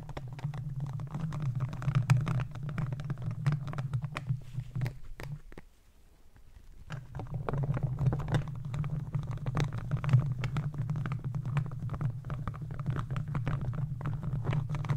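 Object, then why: Metal mesh microphone grille. The hard plastic claw tips of gardening gloves scratch and tap the hollow metal mesh grille of a handheld microphone, producing a dense stream of quick, dry clicks and scrapes over a heavy, low boomy rumble. Around the middle, the sound briefly fades to near silence, then the scratching and low rumble return and continue steadily to the end.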